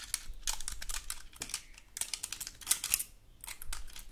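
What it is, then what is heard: Dry pine cone scratched. The scales of a large, dry, woody pine cone are scratched with long gold metal claw nails. The result is a quick run of bright, dry, crackling scrapes and clicks that stop almost instantly, over a faint low rumble.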